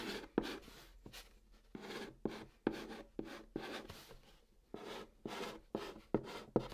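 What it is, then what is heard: Chalk writing on a cardboard box. A white chalk stick held in the fingertips writes Korean letters on the top of a large, flat, hollow brown cardboard box. Short, dry scratching strokes come in an irregular rhythm with brief pauses. Each has a soft hollow body around 300 Hz and a faint bright rasp on top.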